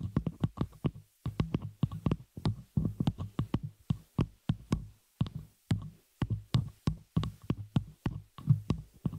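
Long fingernails on both hands tap and scratch a small metal spider-cage shock mount holding a microphone, striking its hollow open frame and the top of the mic. The result is rapid clusters of short, dull, thumpy knocks, mostly low and boomy with very little ring. Each burst comes with faint bright clicks and scratchy edges.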